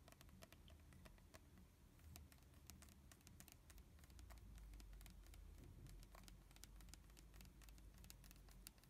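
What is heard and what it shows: Long fingernails tap and scratch the printed label of an uncapped red plastic body mist bottle with a metal sprayer, partly full of liquid. Quick, irregular, crisp clicks and light scratching patter along steadily over a low, soft rumble. The clicks are bright.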